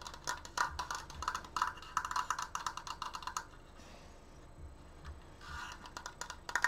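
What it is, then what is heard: Wooden triangular frame. Fingernails tap fast on both side slats of a large, open triangular wooden triforce frame held upright. The taps are dry, short, woody clicks in quick, uneven bursts, with no ring after each one. They fade to a quiet lull midway, then pick up again toward the end.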